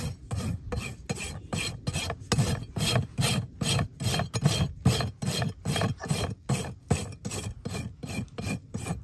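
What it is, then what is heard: Horse hoof being rasped. A farrier draws a long steel rasp across the solid keratin outer wall of a live horse's hoof resting on a metal hoof stand. About 22 separate rasping strokes follow in a steady rhythm. Each is a coarse, gritty scrape with a low body and a bright, hissy edge that stops quickly between strokes.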